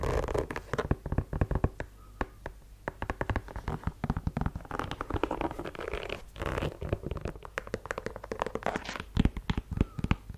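Long nails scratch and tap along the rubber sole edge and the leather upper of a white sneaker, making a dense run of quick, dry clicks and rough scratching. The sound is mostly low and muffled with little brightness, and each tick dies away almost instantly.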